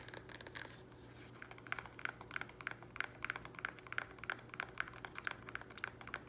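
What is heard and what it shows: A small, thin, square black plastic nursery pot, held up in the hands and apparently empty and hollow, is tapped and scratched quickly with fingernails. A fast run of dry, clicky taps with a hollow plastic tone around 1.5 kHz mixes with bright, crinkly scratching. Each tap stops almost at once with no ring, over a faint low hum.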